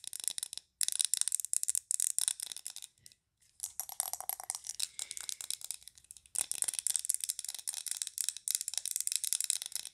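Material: Glass.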